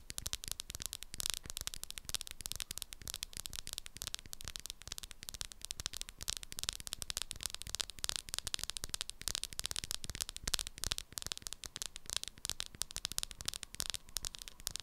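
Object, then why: Small hard plastic powder jar with plastic lid. Long acrylic nails tap quickly and steadily on the sides of a small hard plastic jar of "Banana" setting powder with a black plastic lid. The result is a dense, continuous stream of short, dry, bright clicks that die away almost at once, over a faint low hum.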